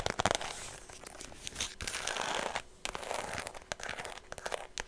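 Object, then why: Faux leather shoulder bag. Fingernails scratch and tap on a white faux leather shoulder bag with a red interior. Dry, crinkly scraping rustles alternate with quick, sharp taps that carry bright, high crackle and very little low end.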